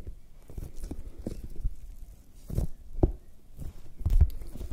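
A large whole raw red bell pepper, hollow and firm-skinned, is held close and tapped with long nails and fingertips. The taps come as soft, dull, low thumps and light scratchy clicks with very short decay, in an irregular patter, and the heaviest taps fall near the end.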